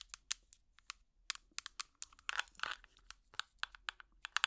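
An empty small clear plastic tub with an orange lid is tapped with plastic finger picks in a quick, uneven series of dry, bright clicks that stop dead with no ring. Midway through, a short scratchy, crinkling rustle runs between the taps, and the clicks carry no low-end weight.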